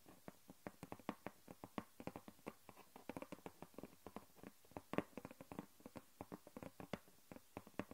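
Long nails tap and scratch a flat grey cardboard sheet lying on a wooden table. About forty quiet, dry taps come in an irregular, rapid run, each a short papery click with a mid-range body and almost no ring.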